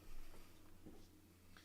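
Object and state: Nothing is struck.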